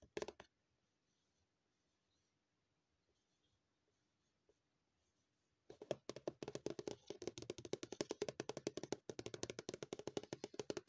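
A white, hollow Dr. Sea multi-purpose cream tube, probably partly full, lies flat while long painted nails tap and scratch its plastic surface. A few quick taps open the clip, followed by several seconds of near silence with faint scattered ticks. From about six seconds to the end, dense, fast, irregular tapping and scratching continues, with short dry clicks centered in the mids and a bright edge.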